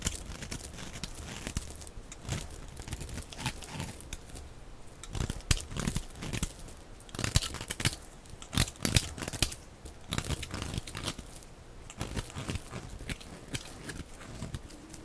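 A utility knife blade cuts and scrapes a hand-sized, solid bar of dry red soap with pink-white stripes, shaving off crumbly pieces. Dense, crisp scratching and crumbling sounds run throughout, broken by short, bright, sharp scrapes that grow louder near the middle of the clip.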